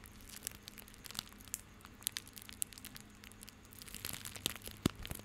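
A small coiled bundle of white plastic rope is held in both hands close to the mic, squeezed and rubbed with the fingertips. Quiet, bright crinkling and crackling ticks rise from a soft hiss over a faint steady low hum, and the sound grows busier toward the end.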